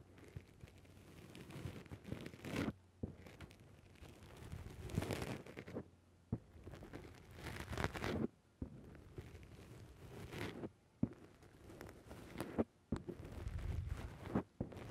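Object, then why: Foam microphone windscreen. Fingertips pinch and press down on a black foam windscreen covering a microphone. The result is close, muffled bursts of crunchy, rustling squishing that swell and fade, heavy in low rumble, with short quiet gaps between squeezes.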